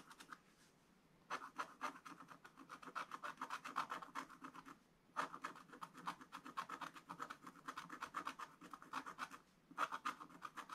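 A wooden stylus scratches steady, rapid strokes across a black scratch-art card in a spiral book. The result is a dry, raspy scratching centred around 1.3 kHz with bright crackly edges, broken by a few short pauses between runs of strokes.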